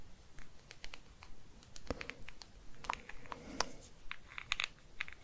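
A small, mostly solid hard plastic Star Wars figure of the Armorer from The Mandalorian, about 15 cm tall with articulated joints, is held in one hand with long painted nails. A pen-like tool with a metal tip taps and traces along its legs and body while fingers handle it. The result is quiet, rapid, irregular clicky taps and light scratches with a bright edge and almost no ring.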